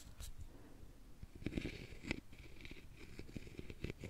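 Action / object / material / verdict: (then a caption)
scrape / carved openwork wooden box / wood / none. A wooden stick is scraped along the side of a hollow, round, openwork carved wooden jewelry box. It makes a soft, low, rasping scrape broken by brief dry clicks as the stick catches on the carving.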